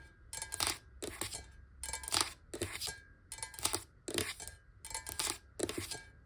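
Long nails on both hands tap rapidly on the walls of a clear, square glass water bottle standing upright on a table, recorded close up. Quick clusters of bright, clicky taps come in repeated bursts, each with a short glassy ring and a faint tone around 1.2 kHz.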